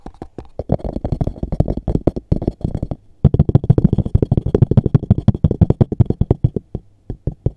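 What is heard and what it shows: Fingertips and nails tap fast on the flat lid and edge of a small, hollow, dark grey textured cardboard box with a JCB label. The result is a rapid run of short, dull, low thuds with almost no ring. The tapping breaks off briefly near the three-second mark and then resumes in an even, steady rhythm.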